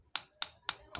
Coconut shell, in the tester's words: bunyinya masih sedikit padat yaitu artinya kalau nutrisi di dalam masih ada